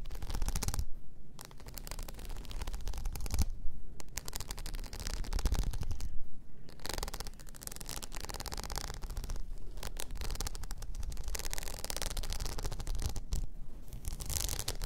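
A blue rhinestone-covered tumbler lying on its side is picked and scratched with long nail tips. It makes dense, crackly scratching with fast ticking bursts, broken by a few short pauses, over a steady low rumble.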